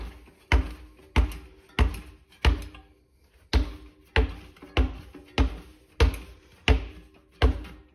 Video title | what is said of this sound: YT Izzo Stan's tubeless | I could not just hear it sloshing, but I could actually sort of feel it sloshing too